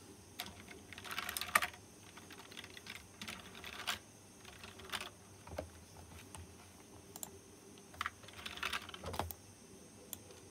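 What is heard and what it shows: Fingertips type on a white plastic mechanical keyboard with round chrome-rimmed keycaps, giving quick, bright clicking keystrokes in uneven bursts with short pauses between them. The clicks are crisp and dry with almost no ring, over a faint low background hum.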